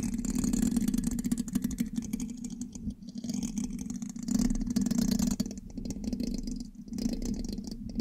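A thin metal pin held in the fingertips scratches and taps across the black metal mesh grille of a large, hollow USB microphone. The result is a dense, rapid scratching clatter with a strong low hum near 240 Hz and faint bright hiss, swelling and dipping over the eight seconds.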